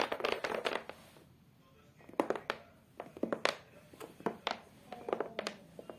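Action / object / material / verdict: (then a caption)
tap / cork board backing of a photo frame / cork / none. Long acrylic nails on both hands tap across a flat beige cork-textured board with a black edge, the back of a photo frame. Dry, clicky taps come in quick clustered flurries separated by short quiet gaps, each tap dying away almost instantly. The sound sits in the mid range with bright clicking edges and almost no low end.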